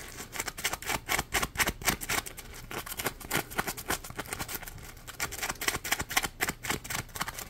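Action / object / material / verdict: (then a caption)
scrape / textured polymer foam sponge / polymer foam / none. Fingernails scratch the textured, ridged edge of a hand-sized yellow Scrub Daddy sponge made of polymer foam. The result is a rapid, somewhat uneven series of dry, bright scratching strokes, roughly four per second, each cutting off almost instantly with little low end.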